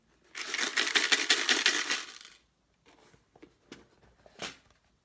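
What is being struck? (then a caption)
Box containing steel paper clips. A closed box holding metal paper clips is shaken so children can guess its contents from the sound, producing a dense, bright metallic rattle for about two seconds. It is followed by a few sparse, lighter clicks and rattles as the box settles.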